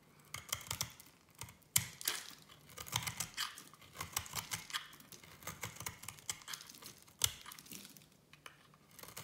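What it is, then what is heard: Bar of soap being shaved. A small metal blade shaves a solid orange and yellow striped soap bar into fine strands, making a quick series of dry, bright scraping and crackling strokes. Two sharper snaps stand out, one near the two-second mark and one near the seven-second mark, and each stroke dies away almost instantly.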